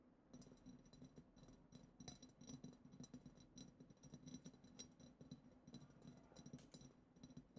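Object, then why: Glass goblet. Long acrylic nails tap quickly on a clear, hollow, goblet-shaped glass vessel decorated with glitter, striking both the bowl and the lower part near the foot. The taps are quiet, with a continuous run of bright, crisp clicks and faint glassy chinks, each fading almost at once, over a soft low body.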